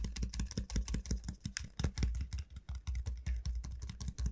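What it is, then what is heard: Hollow dried gourd. Long nails tap rapidly and unevenly on the hard shell of a large, hollow dried gourd, its bulbous end facing the mic. Each tap is a short, dull knock with a deep, hollow low thump and brief clicky highs that die away almost at once.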